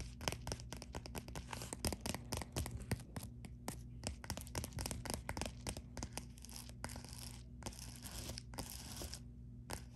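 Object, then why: Padded plastic bubble mailer. A white padded poly bubble mailer lies flat while long nails scratch and tap quickly across its bubbled surface. Dense, rapid crinkly taps and scratchy bursts run throughout over a steady low hum. Bright, sharp transients fade almost instantly.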